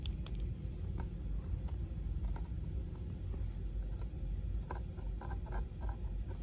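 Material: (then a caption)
Cardboard. A small, hollow, cube-shaped cardboard ink cartridge box is tapped and scratched on its side and top edge with the tip of a purple plastic pen. Scattered light clicks and scratchy ticks sit over a steady low rumble.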